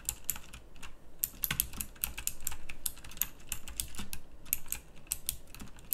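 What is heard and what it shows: Fast fingertip typing on a full-size backlit pink mechanical keyboard with round plastic typewriter-style keycaps. Dense, bright clicky keystrokes with short, sharp attacks and almost no ring run steadily under a low background rumble.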